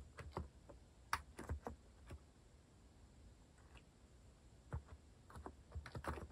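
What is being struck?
Mechanical keyboard with plastic keycaps.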